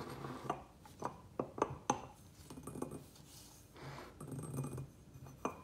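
Fingertips and nails of both hands tap fast on the sides and rim of a medium, round, white glazed ceramic planter that sits empty and hollow on a wooden table. About ten short, dry clinking taps come in uneven bursts with a mid-pitched tone and almost no ring, between soft rustling pauses.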